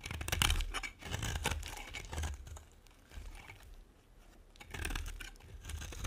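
A metal blade scrapes and carves a solid, dry pink and white bar of soap. Irregular bursts of dry, crumbly scraping and crackling rise and fall, with brief quiet pauses between strokes.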